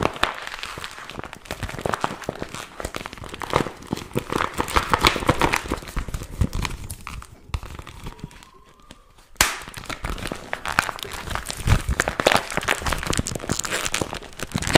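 A small, empty, glossy pink patent vinyl zip pouch is held in both hands while fingers crumple it and pull it open. It gives dense, bright crinkling and crackling with rapid sharp ticks. The noise drops to near silence for about a second, then resumes with a sharp crackle.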